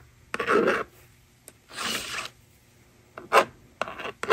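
A plastic stylus rubs and scratches numbers onto a plastic magnetic drawing board lying on a table, and the eraser slider is pushed. Short bursts of dry, raspy scratching come and go, separated by brief quiet gaps, with a few sharp clicks mixed in.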